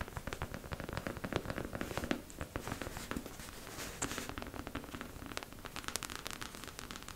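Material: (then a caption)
Plastic. Long pink acrylic nails tap fast all over the crown of a beige mannequin head, likely hollow plastic. The result is a dense stream of quick, dry clicks with bright edges and a low hollow knock underneath, each tap dying away almost at once.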